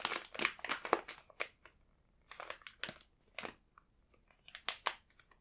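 Fingertips tap and rub the soft surface of a full, printed plastic bag of burdock rolls. Soft, bright crinkles and rustles come in irregular bursts, separated by short pauses of near silence. The sound is quiet, with almost no low end.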